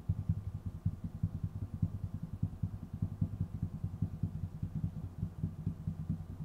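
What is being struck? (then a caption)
Wooden tabletop. Fingertips of both hands tap rapidly on a flat, solid, dark wooden tabletop, producing a fast, uneven run of some thirty short, dull thuds. The sound is deep and muffled, with almost no bright content, and each tap dies away almost instantly.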